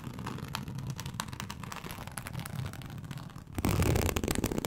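A large flat teal snakeskin-embossed leather sheet is scratched with long acrylic nails, making a dense, dry crackling rasp with soft low rumble underneath. About three and a half seconds in, the scratching turns suddenly louder and fuller, with brighter, harsher scraping to the end.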